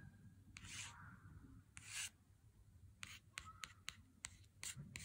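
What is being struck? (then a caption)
Cardboard chocolate bar sleeve. A fingernail taps and scratches along the printed gold-foil lettering on the cardboard sleeve of a Lindt chocolate bar held in the hand. Soft, bright scraping swishes alternate with a series of short, crisp clicks over a low, quiet background hum.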